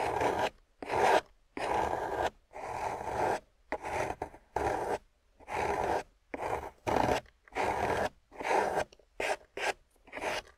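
A solid, water-soaked grey clay block held in a long-nailed hand is scraped across its surface with a metal loop carving tool, pulling off crumbly shavings. Each stroke is a separate, close, gritty rasp focused in the midrange around 700 Hz, with quiet pauses between strokes.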